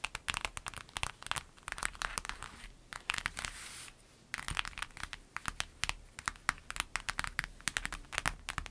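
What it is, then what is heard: Clear vinyl pencil bag. Long nails tap and scratch a flat, empty, clear lemon-print vinyl zip bag, making a rapid run of sharp, dry, crinkly clicks. Midway, the tapping gives way to a steady, bright scratching hiss for about a second before the quick tapping resumes. The bag makes no ringing after the hits.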